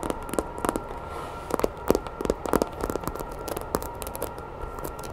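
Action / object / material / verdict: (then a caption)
tap / vinyl toy figure / vinyl / none. Long nails scratch and tap the body and ridged tail of a grey hollow vinyl Godzilla toy figure held close to the microphone. The sound is a quick, uneven run of short, dry clicks and crackly scrapes over a faint steady hiss, each tap dying away almost at once.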